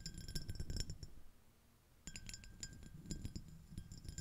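Long nails tap and scratch the rim and ridged surface of a small, clear, iridescent, shell-shaped empty glass dish. Quick, irregular clinks and scrapes ring with bright glassy tones over a soft low rumble. The sound goes nearly quiet for about a second in the middle, then resumes.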